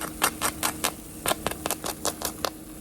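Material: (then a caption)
Chicken skin. Cooked chicken wings, made without flour, oil, batter or breadcrumbs, are tapped or scraped to show off their crispy skin. About a dozen sharp, dry crackling taps ring out over a low steady hum. The skin is crunchy and crisp, and the meat inside stays juicy rather than dry.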